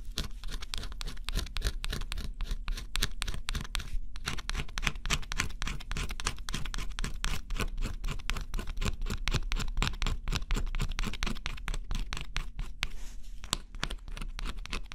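A metal-tipped stylus scratches the coating off a flat, thin coated cardboard scratch-off jigsaw puzzle in short strokes. The result is a dense, steady run of quick, irregular scratchy strokes with bright, papery grit over a soft low rumble, each stroke stopping dry with almost no ring.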